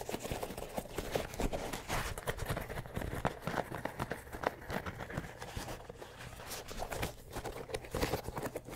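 An empty orange and grey running shoe with a synthetic mesh upper and a foam and rubber sole is held in the hand while fingertips tap and scratch across it. The result is a steady stream of quick, soft, dull taps and scuffing scratches, heavy in the low range with little brightness, each tap dying away almost instantly.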